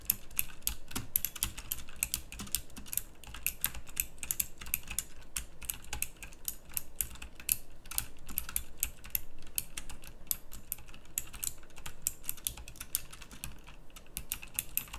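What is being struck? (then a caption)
Mechanical keyboard with round plastic keycaps. Fast, dense typing with fingertips on a full-size backlit pink mechanical keyboard with round plastic typewriter-style keycaps. Rapid, bright clicks with very short decay run continuously throughout, over a low steady hum.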